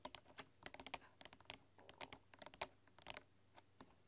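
Fingertips and long dark-polished nails type on a full-size bamboo keyboard with wooden keys, producing an irregular run of quick, bright, clicky taps. Each tap is sharp and dies away almost at once, over a faint, steady low hum.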